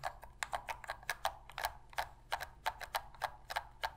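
Long pink nails tap and scratch the shell of a black Sony PlayStation controller made of hollow hard plastic, held in both hands, and press its buttons. About twenty quick, dry clicks and taps come in an uneven rhythm, each with a hollow tone near 780 Hz and a bright edge. Faint scratching fills the gaps, and each hit dies away almost at once.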